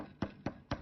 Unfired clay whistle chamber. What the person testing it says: You can tell you have a hollow chamber if you pound on it, tap on it. It has real kind of a thud to it, so you can tell that it's hollow.